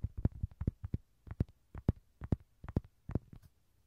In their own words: 귀여운 로디 장난감 두드리는 소리